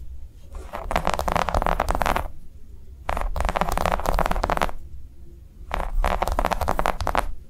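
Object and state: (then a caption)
Silicone coaster. Long nails of both hands tap and scratch a flat, round green silicone coaster with concentric ridges lying on a dark cloth. Three dense bursts of rapid, dry clicking and scraping are heard, each with a low rumbling undertone, separated by short quiet gaps.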